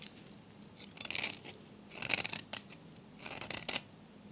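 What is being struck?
Soap bar scraped by a metal blade.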